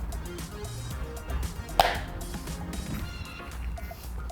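A MagSafe accessory is drawn onto a clear plastic MagSafe phone case with a magnet ring, a case priced around 17,000 won that has by far the strongest magnet of the nine compared. It gives a single sharp, bright snap over a steady low background. The strength shows in a shake test and in how hard the accessory is to pull off.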